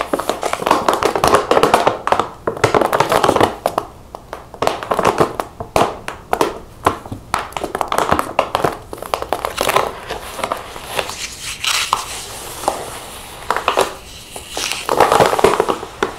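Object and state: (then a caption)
Plastic seed pouch. Long painted fingernails tap a large laminated plastic chia seed pouch, filled with seeds and standing on a table. Bursts of fast, crisp tapping mix with crinkling of the plastic, broken by short pauses.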